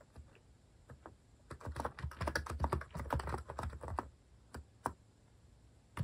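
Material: Plastic.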